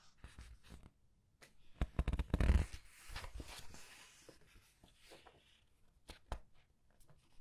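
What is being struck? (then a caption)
Paper book pages. Red-nailed fingertips slide over and turn the printed paper pages of a large open paperback art book resting on a white table. Soft papery rustles and light ticks are heard, with one louder crinkling swell of a page turning partway through. The sound then settles back into quiet brushing and a few sharp flicks.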